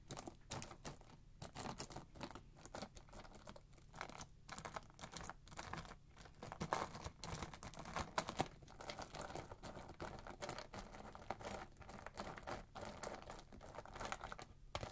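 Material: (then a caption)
Wax. Fingertips and hands press down on two piles of thin, solid pale wax flakes on a dark tray, crumpling them. A quiet, steady stream of dry, crisp crackles and tiny snaps fills the whole clip, with brief brighter bursts as the flakes break apart.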